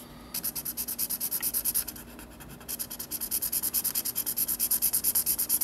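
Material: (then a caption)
Paper. A black marker rubs rapid back-and-forth strokes across the white paper page of a spiral sketchbook while coloring in a drawing. The bright, hissy scratching comes in quick, even pulses, about three per second, with a brief pause near the two-second mark before the strokes resume and grow slightly louder.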